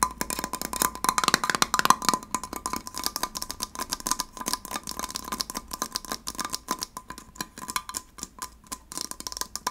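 A small, hollow, handheld gold heart-shaped metal candle tin with a paper label on the lid is tapped with fingernails on its rim and lid. Quick, bright, clicky taps fall in a fast, uneven patter, each dying away almost at once over a faint steady ring around 1 kHz.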